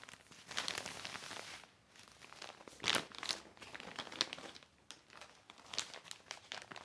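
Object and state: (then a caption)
Heavy plastic sheet. A black heavy plastic sheet is wiped with a cloth, then lifted and flipped by hand, crinkling. The sound is a bright, high, dry crinkle with sharp crackling bursts and almost no low end, rising and falling in irregular swells.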